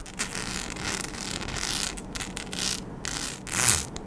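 A flat sheet densely covered in small rhinestones, with round and oval cut-outs, is scratched with long acrylic nails. The result is a steady, bright, gritty scratching and rasping with repeated swells, most of its energy sitting high.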